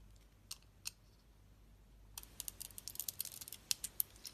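A hand-sized, solid pink and purple striped bar of soap, held in the hand, is scraped and carved with a metal utility-knife blade as shavings flake off. Two isolated, crisp, bright scrapes sound near the start, followed after a quiet pause by a rapid run of sharp, dry, high-pitched scraping clicks that stop short with no ring.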